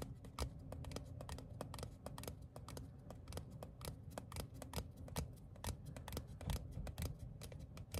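Fingertips and short nails tap and flick a small, thin printed paper or cardstock ticket card held in the hands. The result is a quick, irregular run of crisp, dry clicks with bright edges that die away almost instantly, over a steady low rumble.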